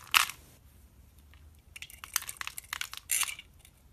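A red-handled knife slices and scrapes thin pieces off a solid, hand-sized white bar of soap held in the hand. A sharp, bright crunch is followed by a quiet pause, then a run of quick, crisp scraping crackles and a final longer, grainy scrape. There is almost no low end, and each cut stops dry with no ring.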